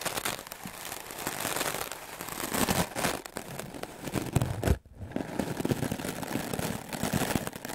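A stiff-bristle wooden clothes brush scrubs fast and hard across a white melamine foam magic eraser block, making a dense, crackling, scratchy rasp that spans low thuds to bright hiss. The scrubbing swells and eases in uneven bursts, breaks off for a brief near-silent moment just before the five-second mark, then resumes with the same rough crinkling texture.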